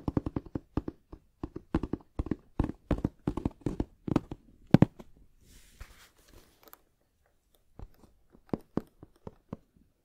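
Fingertips tap and knock on a medium black, rounded hard-shell headphone case, a molded shell covered in fabric, closed and hollow, and held in the other hand. A quick run of dull, hollow, low thuds with no ring gives way midway to a soft, airy scratching on the fabric. A few scattered knocks follow before it fades.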